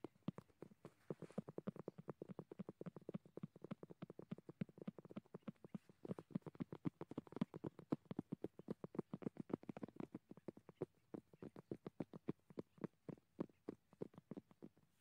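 Both gloved hands rapidly tap and drum their fingertips on a large, solid, weathered dead tree log of dry, cracked wood. A dense, continuous patter of quick, dry knocks is heard, each hit short and low-pitched with a hollow woody body and almost no ring. The quiet, steady rhythm sounds like soft clip-clopping.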